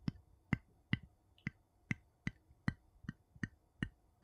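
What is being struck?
Metal screw lid on a small glass jar, tapped with a wooden scoop.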